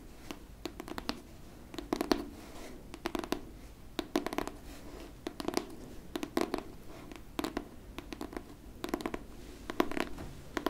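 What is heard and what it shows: Long nails scratch the cover of a solid pink hardcover book, held flat and then upright. Quiet bursts of dry, bright scratching come in short clusters over a soft low hum, each stroke clipped and dying away almost at once.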